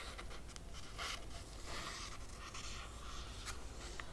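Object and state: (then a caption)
Hardcover book cover being scratched. Long nails trace and scratch across the laminated cardboard cover of a closed hardcover book. Quiet, dry scratching and brushing strokes come in short bright bursts over a steady low rumble.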